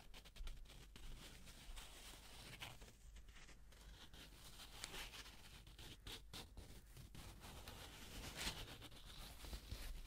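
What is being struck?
Folded paper banknote.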